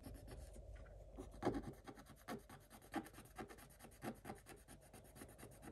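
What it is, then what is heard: Scratch-art paper being scratched. A thin wooden stylus scratches across a black-coated scratch-art paper page, exposing the pink foil underneath. The sound is a quiet, dry, continuous rasping scratch, broken up by a few louder, sharper strokes with very short decay.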